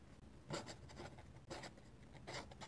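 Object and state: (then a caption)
Pen nib scratching on a paper sketchbook page. A steel dip pen nib is drawn by hand across a flat paper sketchbook page, scratching ink lines. Quiet, dry, bright scratchy strokes come in short bursts, with louder scrapes over a steady low background hum.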